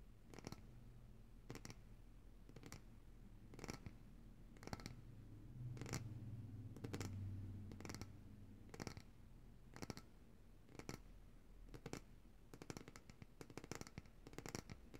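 Long nails tap the glass sides of a large glass jar of coconut oil, full of white solid oil and held upright in both hands. Sharp, dry clicks with bright tops sound at an uneven pace over a low, steady hum that swells in the middle of the clip. The taps come faster and closer together toward the end.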